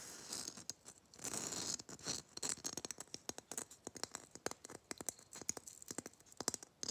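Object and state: Glittered plastic Christmas bauble.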